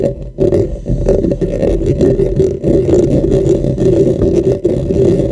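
Fingernails on both hands scratch and rub the top and sides of a dark, hollow, cylindrical microphone's metal mesh grille. The result is a dense, continuous scratchy rustle, heavy in the low and low-mid range with a hollow tone around 360 Hz, broken only by a few brief dips in level.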